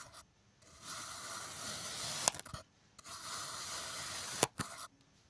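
A metal kitchen knife slices thin layers off the top of a solid block of blue kinetic sand resting on a white surface. Two long, bright, gritty scraping strokes are heard as the blade cuts through the sand, each ending in a sharp tick followed by a short, softer scrape before quiet.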